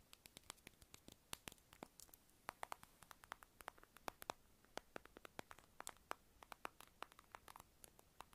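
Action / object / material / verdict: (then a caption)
tap / small round plastic lip balm container / plastic / none. Long acrylic nails tap and scratch a small, light-blue, round, hollow plastic lip balm egg held in the hand. Dozens of crisp, dry, bright clicks land in an irregular, rapid patter, each gone almost instantly, with very little low end. Faint scratchy hiss fills the gaps between them.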